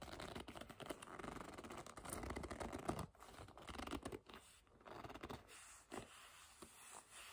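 Long nails tap and scratch the face of a black leather bag held upright, its hollow body behind the leather. A dense, soft run of dry scratching and scraping is heard, with quick taps scattered through it and a bright rasp over a low, muffled thump. The sound stays close and quiet, easing slightly toward the end.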